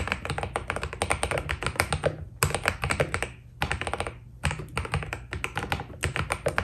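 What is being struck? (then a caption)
Mechanical keyboard with PBT plastic keycaps. Fingertips of both hands type steadily on a white Keydous NJ80 mechanical keyboard with PBT plastic keycaps, a steel plate and foam inside. The keys give a dense run of short, crisp taps with a deep, muted thock, and the typing breaks off in a few brief pauses before resuming.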